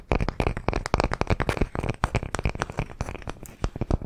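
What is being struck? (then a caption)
Palm-sized wooden log slice with bark. A palm-sized, solid round slice of tree trunk with a bark edge and visible rings is held in both hands and tapped and scratched with fingernails. It gives a rapid, uneven stream of dull, low, dry knocks mixed with faint scratchy rasps. Each tap dies away almost instantly with no ring.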